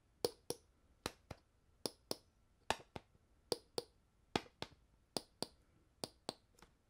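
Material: Plastic.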